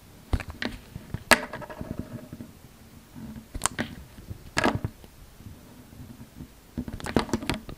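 A utility knife blade shaves thin strips from the surface of a solid oval light green soap bar held in the palm. Short, crisp scraping cuts with bright edges come in scattered bursts, separated by quiet gaps with soft rustling.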